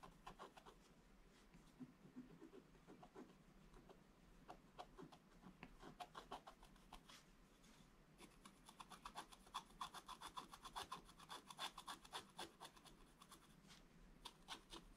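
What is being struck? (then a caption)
Coated scratch-art paper scratched with a wooden stylus. A wooden stylus rubs and scratches the coating of a black-coated scratch-art paper page, producing quick, irregular, dry scratching strokes with a bright, papery rasp. The strokes grow denser and louder after about 8 seconds.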